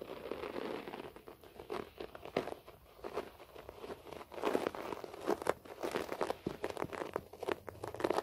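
Fingertips and nails scratch quickly across a beige short-pile floor carpet. The result is a dense run of dry, crackly rasps that swell and fade in uneven bursts. The texture is mostly mid-range with bright scratchy edges.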